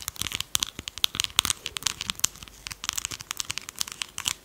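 A small red plastic lip gloss tube, looking full and held in both hands, is tapped and scratched along its sides with long pastel nails. Quick, dry clicks and scratchy crinkling come in a rapid irregular stream, bright and high with almost no low end and no ring after each touch.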